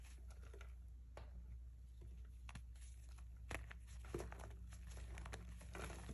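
Bare hands with painted nails squeeze, crush and crumble broken chunks of solid, dry, pale grey reformed gym chalk (magnesium carbonate) between fingers and palm, on a white surface beside a pile of powder. Quiet, irregular crinkly crunches and soft crackles sound over a steady low hum, with a couple of slightly sharper snaps near the middle. The chunks break down into crumbs and powder.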